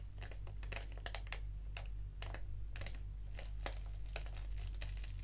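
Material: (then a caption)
Foil paper. A small, flat black foil-lined paper tea sachet of Organic English Breakfast with a tea bag inside is held in the fingers and crinkled and scratched with long acrylic nails. Quick, bright crinkling and scratchy ticks come in close bursts over a steady low hum.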